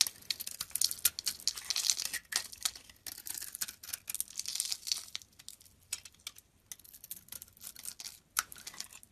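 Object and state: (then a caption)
Bar of soap being scraped. A utility-knife blade scrapes the pink pearly coating off a hand-held oval solid soap bar with a beige core. The result is quiet, dry, bright scratching and crackling in quick, irregular bursts of short strokes, with almost no low end and each stroke ending abruptly.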